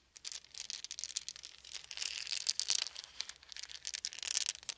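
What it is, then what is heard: Wooden beads. A handful of small, round, solid wooden beads is held in cupped hands over a fuzzy blanket while fingertips roll and shake them together. The result is a dense, bright clatter of quick, dry clicks and crinkly rattling that swells and fades in irregular bursts, with almost no low end.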